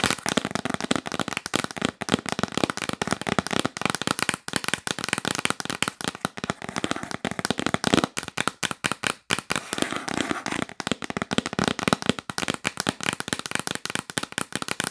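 Long nails tap rapidly on the lid of a hollow yellow printed cardboard box held upright. The result is a dense, continuous stream of short, dry, crackling clicks with bright highs and very little low end.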